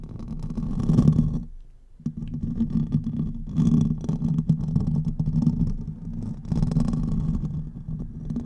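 Fingernails scratch the hollow metal mesh grille of a silver condenser microphone while hands are cupped around its head. The result is a dense, low, rumbling scrape centered around 156 Hz, with a faint brighter rasp on top. The sound swells and fades in waves and drops briefly to near-quiet around the 2-second mark before resuming.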